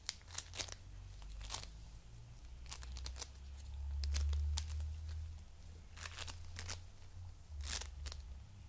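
A coral-pink heart of foam bead clay, flat and palm-sized, is held in both hands and pressed with fingertips. It gives short, bright crackling and crunching bursts at an uneven pace over a steady low rumble.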